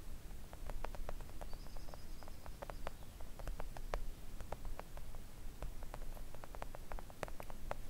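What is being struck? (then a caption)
Silicone nail art mat tapped with fingernails. Long coffin-shaped press-on nails tap quickly on a flat, thin, solid pink silicone mat lying on a table. The result is a steady stream of short, dry clicks that die away almost instantly, over a low, rumbling background hum. A faint high whine briefly sounds early on.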